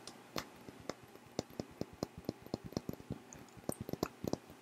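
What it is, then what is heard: Glass perfume bottle. Fingertips and nails tap and scratch along the faces and large faceted crystal-style cap of a Versace Yellow Diamond perfume bottle, a hand-sized, thick faceted glass bottle partly filled with yellow liquid. About eighteen quick, dry ticks come in an uneven run over a faint hiss. Each tick is sharp and bright with almost no ring.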